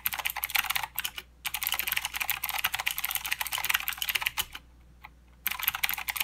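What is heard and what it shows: A full-size mechanical keyboard with plastic keycaps and blue clicky switches is typed on by both hands with the fingertips. It makes rapid, bright clicky key strikes in dense bursts, with short pauses near one second, around four and a half seconds, and between five and five and a half seconds.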